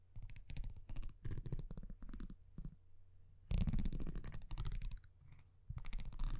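A metal tweezer-like tool scratches and taps across the front of a thin printed cardboard baseball card held in one hand. It makes an irregular series of dry clicks and scrapes with a deep, thumping low end and bright crisp tips, short pauses between bursts, and a louder cluster of scratching midway through.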